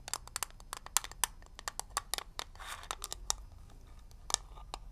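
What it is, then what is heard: Metal mint tin. A small hollow metal mint tin shaped like a shield is held in both hands while fingernails tap and scratch its lid and edges. About twenty sharp, bright clicks come in quick, uneven bursts, and each dies away at once with no ring. A brief scratchy swish sounds midway through.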